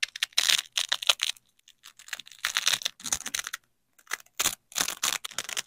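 Black-gloved hands pull a yellow nylon hook strip apart from black nylon loop strips of a hook-and-loop fastener and press them back together. Bursts of bright, crackly peeling and ripping come in quick, dry crackles separated by short pauses, almost all high in tone with no low end.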